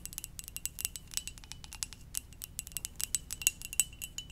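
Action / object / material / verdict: tap / ceramic mug / ceramic / none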